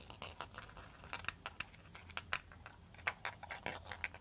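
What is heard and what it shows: A bamboo pan flute, a bundle of hollow bamboo tubes, is tapped and scratched with long pointed metal nail extensions. It gives a quick, irregular run of bright clicks and dry scrapes. Each tap has a short hollow tone around 1.3 kHz that dies away almost at once, over a faint low hum.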